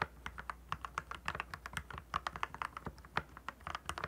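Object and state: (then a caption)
Plastic mechanical keyboard. Fingertips type continuously on a compact, backlit plastic mechanical keyboard with clear plastic keycaps. About 30 quick, dry keystrokes sound in rapid, uneven rhythm, each a crisp clack centered near 1.1 kHz with bright clicky edges and almost no ring.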